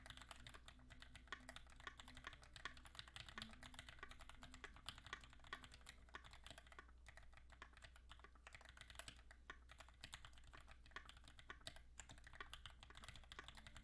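Both hands type steadily with their fingertips on a compact QXP mechanical keyboard with Greetech Black switches, a blue-gray aluminum case and beige, gray and blue ABS keycaps. The result is a dense, continuous stream of short, bright clacks and taps that die away almost instantly, over a steady low hum.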